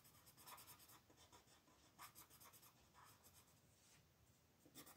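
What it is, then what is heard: Colored pencil on paper coloring page. A teal colored pencil makes rapid, short scratching strokes to fill in shapes on a thin printed paper mandala sheet lying flat on a dark wooden table, while the other hand, with red nails, holds the sheet still. The sound is a quiet, bright, papery rasp in quick bursts, with slightly louder strokes standing out now and then.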